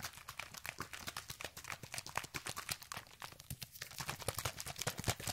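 An orange, hand-sized, hollow plastic sunscreen spray bottle, partly filled with liquid, is held in one hand with painted nails and shaken fast close up. It makes a steady, rapid stream of short, dry sloshing knocks and bright plastic rattles, each one dying away almost instantly over a faint low rumble.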